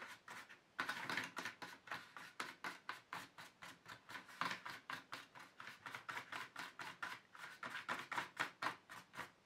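Fingertips rub and scratch across the base and the edges of the tube slots of an empty black plastic paint tube tray. The result is a steady series of dry, scratchy strokes, about two per second, with papery rasping concentrated in the mid and high range and almost no low end. Each stroke cuts off quickly with no ring.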